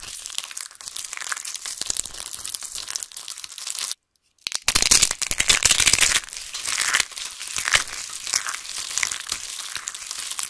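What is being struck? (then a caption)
Crushed soap shavings. Hands with long pink nails grab handfuls of thin, dried, crispy pink and grey soap shavings and shards spread over a table, crushing and crumbling the small, solid, brittle pieces in their fists. The result is a dense, bright crackling crunch with almost no low end. It stops briefly near the four-second mark, then returns louder before settling back to steady crinkling.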